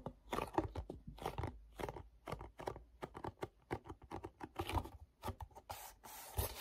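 Fingertips rub and tap with a sticky grip on the back label of a small, hollow, glossy paperboard mochi box held up close. A quick run of quiet, dry crackling taps and scratchy peels follows, each dying at once. It ends in a longer, steadier rustle.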